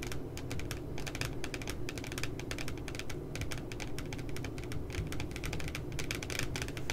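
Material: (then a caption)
Coated paper. Long nails tap quickly and irregularly across the glossy paper cover of a spiral notebook printed with two puppies. The result is a dense stream of crisp, bright clicks over a steady low rumble.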